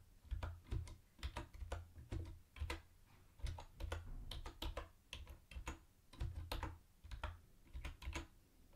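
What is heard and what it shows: Fingertips type on a mint-green plastic typewriter-style keyboard with round white plastic keycaps and a hollow body. Quick, irregular bursts of key presses come with short pauses between them. Each stroke is a deep, hollow thud topped by a brief bright click that dies away almost at once.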